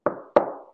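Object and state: Wooden surface knocked.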